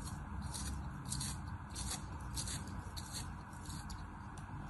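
A thin knife blade scores and slices a small molded disc of kinetic sand resting on an open palm. Soft, gritty scraping and crunching strokes come in repeated bright, hissy bursts over a steady low rumble.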